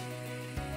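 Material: Nothing is struck.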